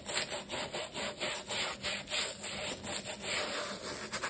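A wooden-handled bristle brush scrubs back and forth over an empty black leather sneaker lathered with cleaner. The strokes make a steady, rhythmic, bright scratchy rubbing with a crisp hissing texture and almost no low end.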